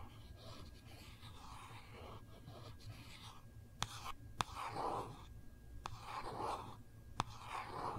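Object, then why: Hardcover paper notebook. Long nails trace over the gold foil cover of a small, solid Kate Spade hardcover paper notebook with an elastic band, held in the hands, making soft, steady scratchy swishes. Four sharp, dry taps from the nails stand out over the quiet rustling and stop almost at once.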